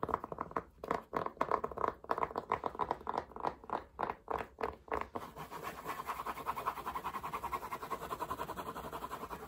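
Fingertips and nails quickly tap and scratch the crown and brim of a dark grey fabric baseball cap worn on the head. Bursts of dry scratching and tapping, strongest around the middle register, come in fast uneven runs for about five seconds. They then blur into continuous, quieter rapid scratching.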